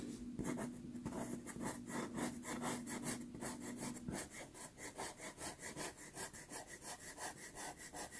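A white pastel pencil held in the fingertips strokes and scratches a small 4.5 inch sienna Pastelmat pastel card taped to a board. Rapid, rhythmic scratchy strokes with a bright, grainy rasp repeat throughout, about two or three per second. A faint steady low tone near 246 Hz sits underneath for the first four seconds and then stops.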